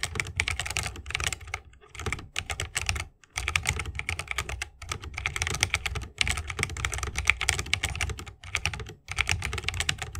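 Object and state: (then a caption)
Mechanical keyboard in wooden case. Fingertips of both hands type rapidly on a 60% mechanical keyboard with plastic keycaps and tactile switches, set in a solid bamboo wooden case resting on a wrist rest. Dense bursts of bright, crisp key clicks with a low, woody thock underneath run in quick flurries, broken by a few brief pauses.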